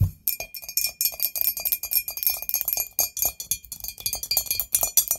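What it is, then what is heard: Ceramic candle holder tapped with nails. Long nails tap quickly on a medium, hollow, white glazed ceramic ghost candle holder, both standing upright and laid on its side. The result is a rapid run of bright, clinking ticks with very short decays and a faint steady high ring underneath.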